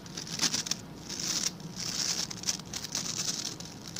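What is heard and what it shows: Fingertips and nails scratch and flick across the stiff white-and-blue plastic bristles of a hand-sized blue scrub brush held in the other hand. The result is a dry, bright, hissing scratch that swells and fades in uneven bursts, with quick sharp flicks and almost no low end.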